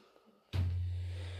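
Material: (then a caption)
Calcite rock. A gloved hand strikes a hanging cave formation known as the cave bass, a solid rock with a thick layer of calcite crystal. A single hit at about 0.5 s gives a deep, drum-like boom at around 90 Hz that sounds hollow and rings on for nearly a second. The formation reverberates because of its crystalline coating and the way it hangs from the ceiling.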